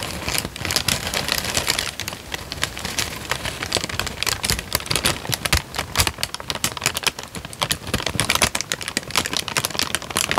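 A thin, creased, light-brown paper sheet is held in both hands while the fingertips crinkle and fold it. Dense, bright crackles and sharp little snaps come in quick bursts, with almost no ring. The crinkling runs steadily for about ten seconds.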